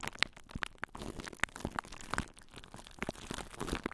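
Long nails scratch and crunch plastic cling wrap stretched over a microphone held in both hands. The result is a dense, close stream of crisp crinkling with sharp, bright ticks and snaps over a soft, steady rustle.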